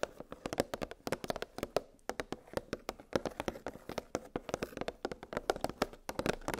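Long pink nails tap rapidly on a clear, hollow plastic blister clamshell holding nested metal gingerbread cookie cutters on a cardboard backing. The result is a quick, irregular run of light, dry plastic clicks, each dying away almost at once, with a hollow tone in the mid range.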